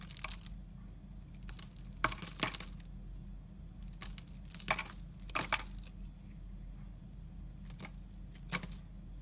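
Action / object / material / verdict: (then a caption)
scrape / soap bar scraped by a utility knife blade / soap / none. The blade of a yellow utility knife scrapes and shaves the edge of a solid, hand-sized blue Lux bar soap held in the hand, sending soap flakes falling. Short bursts of bright, crisp, crackling scraping come in uneven clusters over a steady low hum.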